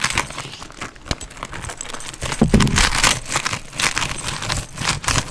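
Fingernails scratch and tap across a hollow black quilted leather handbag with a gold chain strap. A steady, uneven run of crinkly, bright scratching mixes with soft, short taps and a few duller low thumps, with no lingering ring after each touch.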